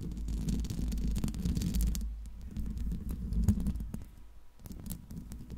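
Long pink acrylic nails tap and scratch the hollow metal mesh grille dome of a silver Blue Yeti USB microphone with a metal body, briefly tapping near the base of the body. The result is a close, muffled stream of quick, irregular low thumps and scratchy rubbing, heavy in the low end, with a few sharper ticks. It grows quieter and sparser in the second half.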